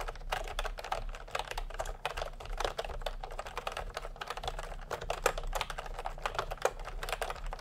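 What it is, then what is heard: Plastic keyboard typing. Fingertips type fast on a full-size plastic retro computer keyboard with round pastel typewriter-style keycaps and a hollow body, resting on a white cloth. A dense, steady stream of short, hollow plastic clacks centered in the midrange, with a few louder key strikes standing out over a low background hum.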